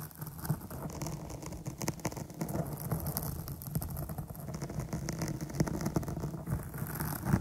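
Long nails from both hands scratch the top of a soft, dark foam microphone windscreen for relaxation. The result is a dense, continuous rustling and crackling, heavy in low rumbling thuds with faint bright hiss above and occasional sharper scrapes standing out.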